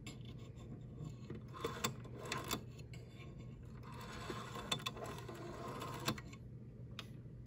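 A green vintage rotary-dial desk telephone with a hollow plastic body and handset is handled with long yellow nails and fingertips: the dial is turned, then the handset and cradle are tapped and scratched. Soft, dry scratching and rubbing runs throughout, broken by short bright clicks and taps that die away almost instantly. A steady low hum sits underneath.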